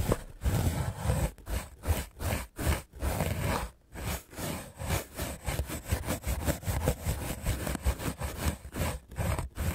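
A solid, hand-held white rectangular melamine foam sponge is scrubbed fast with a small red-handled paint brush with dark bristles. The result is a rough, broadband scratching and rubbing sound in quick, uneven bursts, heaviest in the low range, broken by brief gaps between strokes.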